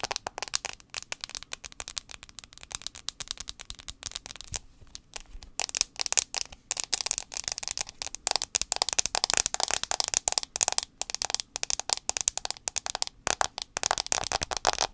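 Long acrylic nails tap rapidly on the glass touchscreen of a handheld white iPhone 6s held screen-forward close by. The result is a dense stream of sharp, dry, bright clicks with almost no ring and virtually no low end, growing busier and louder after the first few seconds.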